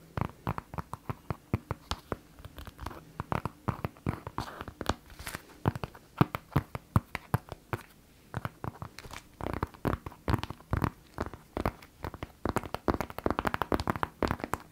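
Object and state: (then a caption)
Tablet in synthetic leather folio case. A closed white synthetic leather folio tablet case is held up and turned while fingertips and long nails tap and scratch its cover. A rapid, irregular run of short, dry, dull taps sits over soft scratching and crinkly rubbing, with almost no ring after each tap.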